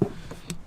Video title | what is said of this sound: Acura, FIX THIS! *2023+ Integra* | sounds like I'm knocking on the door that's very hard plastic